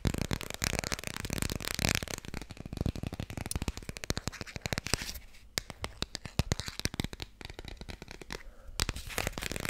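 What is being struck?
Hardcover book cover.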